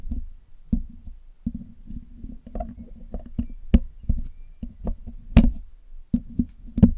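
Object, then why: Metal mesh microphone grille. A hollow black metal mesh microphone grille is scratched and poked with a metal needle pick and metal tweezers, picked and cleaned close up. Dull, low, hollow taps and scraping bursts come in uneven succession, with a few sharper, brighter clicks that die away almost instantly.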